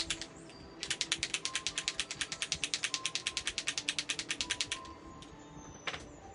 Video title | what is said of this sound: Wed 08/11/21 Teaching Adult Coloring With ILene Vick Tropical World Millie Marotta FANTASIA | shake it until i hear it click